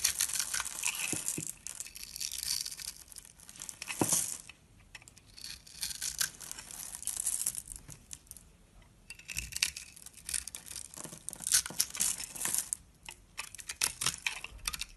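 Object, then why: Bar of soap cut with a metal knife. A metal knife blade scrapes across a solid orange rectangular bar of soap with a pre-scored grid, held in the hand, shaving off crumbly grid cubes. Bursts of bright, dry crackling and crumbling come in waves, separated by brief quieter pauses.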